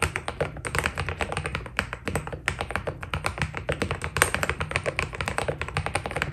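Fast fingertip typing on a white Keydous NJ80 mechanical keyboard with PBT keycaps produces a rapid, continuous stream of short, crisp clacks. Each keystroke is dry and dies away almost instantly, over a steady low rumble.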